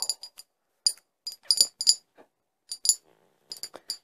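An empty, hollow, medium-sized clear glass liquor bottle with a cork-style stopper is held in one hand and tapped with long acrylic nails. The taps come in quick, irregular clusters of bright, high-pitched clinks, each dying away almost instantly.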